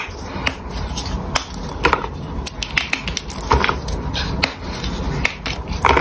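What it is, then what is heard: Gym chalk block crumbling. A solid, palm-sized pink gym chalk bar is snapped and crumbled into chunks by the fingers of both hands on a stone surface, with a microphone in view but untouched. Sharp, dry cracks and crunchy snaps come in irregular bursts over a soft, steady gritty crumbling. The chalk ends up broken into small chunks.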